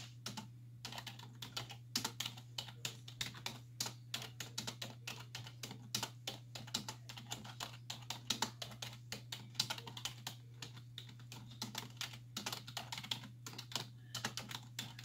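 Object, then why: Plastic computer keyboard. Long nails and fingertips rapidly tap the hollow keys of a black plastic computer keyboard on a wooden desk in a steady, fast run of sharp, bright clicks. The clicks die away almost instantly over a constant low hum.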